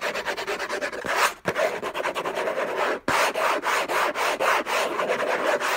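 Fingertips and nails scratch and rub fast and hard across a hollow, rigid orange cardboard gift box covered in textured paper. The result is a rapid run of dry, raspy strokes with a bright hiss, broken by two short pauses near 1.4 and 3 seconds.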